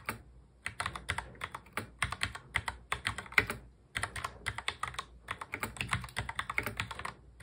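Fingertips of both hands press the keys of a full-size black plastic mechanical keyboard in fast touch typing. The result is a rapid, uneven stream of short, bright, clacky keystrokes with a brief pause midway.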